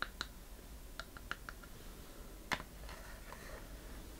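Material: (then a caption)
Wood. Long painted fingernails tap and scratch the lid and sides of a small hollow wooden treasure chest box with metal corner fittings and a latch, held in the hand. Sharp, bright clicks with almost no ring stand apart over a low background hum, with the strongest tap near the middle. Softer scratching follows toward the end.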